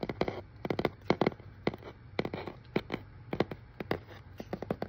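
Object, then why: Corrugated cardboard box. Fingertips and nails rub, scratch and tap on the label and face of a hollow, hand-held brown corrugated cardboard shipping box with a shipping label. About twenty short, dry taps come in quick clusters, each dying away almost instantly with a hollow, papery body around 355 Hz. Soft scratching fills the gaps between them.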